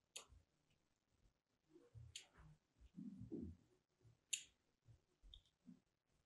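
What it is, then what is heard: Bar of soap being carved. A small metal blade tool, held in a long-nailed hand, cuts thin grooves into the surface of a white, solid, hand-sized Duru soap bar held in the other hand. The carving gives quiet, crisp scratching clicks with bright, sharp edges, spaced irregularly over soft, low, muffled thuds.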